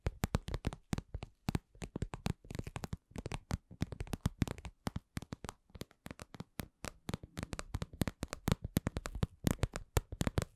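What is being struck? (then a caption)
Patent vinyl lip-shaped cosmetic pouch. A medium-sized, soft, hollow cosmetic pouch of glossy red patent vinyl (PVC), shaped like lips, is tapped with long nails. The result is a steady, irregular stream of quick, dry taps with a dull low body, some brighter clicky tops, and almost no ring.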